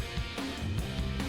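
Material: Nothing is struck.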